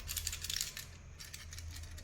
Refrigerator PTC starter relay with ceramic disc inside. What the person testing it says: अगर इसके अंदर से कुछ खड़खड़ाने का आवाज आए तो समझ जाना कि रिले के अंदर एक कॉइन सिक्का होता है